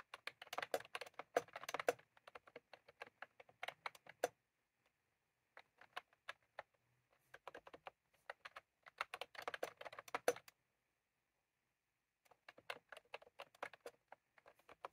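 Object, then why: Plastic mechanical keyboard keys. Fingertips of both hands type rapidly on a cream plastic mechanical keyboard with round plastic keycaps, with a clip microphone lying untouched on the keyboard. Quick, short clicky taps centered around 500 Hz with bright edges come in bursts, from the start to about 4 seconds, from about 5.5 to 10.5 seconds, and again from about 12 seconds to the end, separated by brief pauses of near silence.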